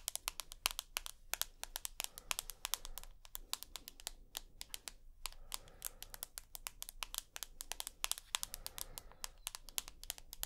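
Long nails tap and scratch rapidly along the aluminium frame of a rose gold iPhone with a glass screen, held edge-on. The result is a quick, irregular stream of sharp, bright clicks with almost no ring, over a faint low hum.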